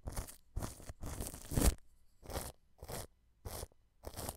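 A wide paintbrush held in the hand rubs clear plastic cling film stretched over a white dome microphone. It makes seven separate bursts of crinkly, crunchy rustling, with the third stroke longest and loudest. The sound is heavy in low rumble and has short silences between strokes.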